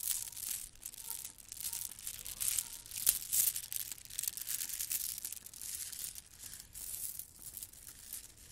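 Gold plastic bead garland strands are held in both hands, rolled between long nails and dangled, making the beads rattle. A quiet, dense, bright clicking and crinkling sound continues in uneven swells throughout, with almost no low end.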